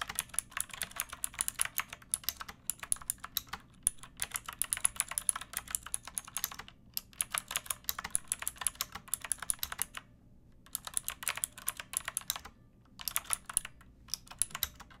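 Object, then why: Plastic mechanical keyboard. Long nails and fingertips type on a backlit pink mechanical keyboard with round plastic keycaps and a hollow plastic case. Rapid, bright, clicky keystrokes come in steady bursts, with short pauses where the typing stops.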